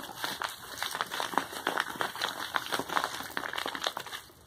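Fingertips scratch and press a medium brown kraft paper bubble-lined mailer that appears to hold something, then the hands turn it over to the label side. The result is a rapid run of crisp, dry crinkles and scratches, centered in the mids with bright edges and almost no low end, each one short and quickly gone.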